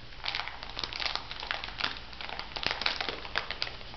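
Fingertips with long nails squeeze and rub a small clear plastic bag full of white bath salt granules. The result is a steady, bright crinkling of the plastic mixed with gritty crunching from the granules inside, broken by frequent short, sharp crackles over a faint low hum.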